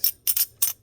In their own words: if you can hear that sound that's only the sound that silver makes